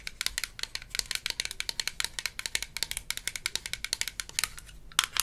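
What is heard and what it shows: Long nails tap and scratch the sides and cap of a small, hollow, blue plastic toy mouthwash (dental rinse) bottle from a Melissa & Doug Super Smile Dentist Kit. Dozens of quick, dry, bright plastic clicks, centred around 3.4 kHz, come in a rapid, uneven stream with a faint scratchy hiss between them. The clicks stop almost instantly, and a louder cluster lands near the end.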